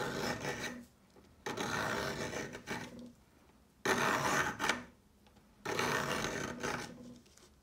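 A peeler blade scrapes a thinning, solid pale yellow chalk stick resting on a marble surface with chalk crumbs around it. The scraping comes in raspy, filing-like strokes with short quiet gaps between them. Each stroke carries a dry, gritty hiss reaching into the highs, with little low end.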